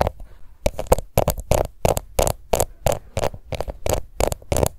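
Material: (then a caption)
Plastic. A small round pink plastic face powder compact, held in one hand, is scratched with long nails. The result is a quick, uneven run of short scratchy bursts, each dry and clipped with a low, dull body and a thin bright edge.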